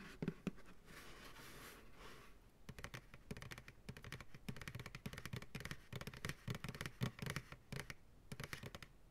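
An empty white plastic ice cream pail, held upside down by its sides, is tapped quickly with fingertips and nails on its hollow side walls. After a brief stretch of soft airy hiss, the taps come in dense, dry, hollow bursts with a low body and a light clicky top, each dying away almost instantly.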